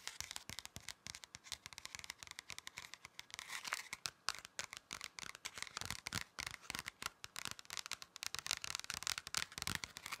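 A thin, flat red paper or card pocket folder is held upright while fingertips tap it and nails scratch across it. The result is a rapid, irregular run of crisp, dry taps and scratchy rasps, bright and high with almost no low end and no ring.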